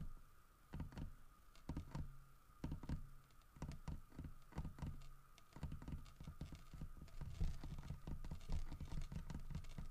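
Fingernails tap and scratch across the grooved fur carving of a large, solid carved wooden bear statue. Quick, irregular clusters of dull, low taps and soft scrapes grow busier toward the end, over a faint steady background tone.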